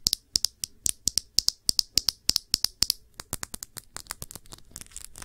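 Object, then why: Small glass perfume bottle. Long nails tap and scratch the sides of a small rounded glass perfume bottle holding blue liquid. The result is a quick series of sharp, bright clicks with almost no ring. Toward the end they turn into faster, lighter, overlapping scratchy ticks.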